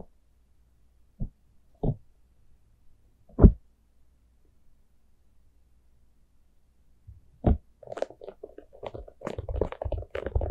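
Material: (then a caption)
Plastic. Long nails tap the sides of a small, hollow, open-topped orange plastic jack-o'-lantern cup held in both hands. Three spaced, dull, low knocks come first, then a single knock, followed by a quick, uneven flurry of soft hollow taps. Each tap dies away almost instantly.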